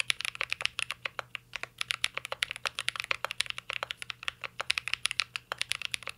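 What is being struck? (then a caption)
Mechanical keyboard with metal case and plastic keycaps. Two hands type steadily with their fingertips on a full-size, mint-green Cyberboard R3 mechanical keyboard with a metal case, plastic keycaps and Holy Panda switches, resting on a desk. It produces a continuous stream of crisp, bright clacks. Each keystroke is short and snappy with almost no ring.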